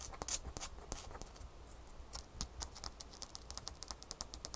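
A small, solid piece of frosty ice is held in the hands above a towel and tapped and scratched with long fingernails. The result is a rapid series of sharp, bright clicks with brief scratchy rustles between them. Each tap stops almost instantly, over a faint low hum.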